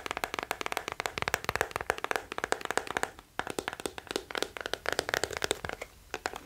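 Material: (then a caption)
Plastic. Fingertips and nails tap quickly on the hollow, hard shell back of a small teal plastic scalp massager held close to the mic. Around forty dry, bright clicks with a hollow mid-pitched knock come in quick bursts, with a brief pause just past the three-second mark. Each tap dies away almost instantly.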